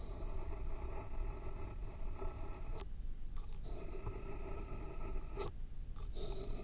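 A pen tip scratches and writes across a thick, solid stack of white paper sheets resting on a foam block. The sound is a steady, gritty scratching over a dominant low rumble, with brief quieter pauses as the pen lifts before the writing resumes.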